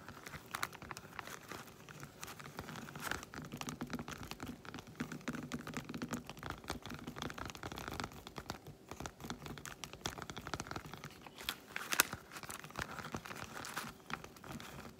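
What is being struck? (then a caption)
Segmented milk chocolate bar. Long white acrylic nails tap rapidly on the squares of a solid, segmented milk chocolate bar lying flat close by. The result is a dense, steady stream of quick, dry clicks with a crinkly, scratchy texture and bright edges, each dying away almost at once. One sharper tap stands out near the twelfth second.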